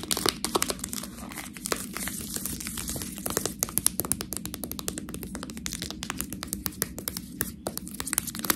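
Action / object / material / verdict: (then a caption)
scrape / sealed plastic bag of fresh pasta / plastic / none. Fingernails scratch along the sealed edge of a full, clear plastic bag of fresh tortellini and squeeze the pasta inside. The result is a dense run of bright, crisp crinkles and sharp clicks over a steady low rustling bed, with no ringing between the quick taps.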